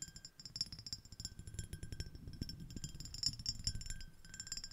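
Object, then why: Small ribbed glass dish. Long acrylic nails on both hands tap rapidly over an empty, small, clear, iridescent, ribbed, shell-shaped glass dish. The taps are quick, dry clicks with short, bright, high glassy pings, over a soft low thump from each touch.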